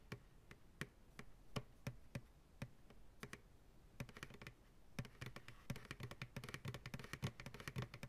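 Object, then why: Plastic pail. A medium white plastic ice cream pail, hollow, empty and held upside down in the hands, is tapped on its sides with fingertips and nails. Sparse, evenly spaced taps at first give way to quicker, denser flurries. Each tap is a dry, hollow knock with a low body near 125 Hz and a bright click from the nails, and it dies away almost at once.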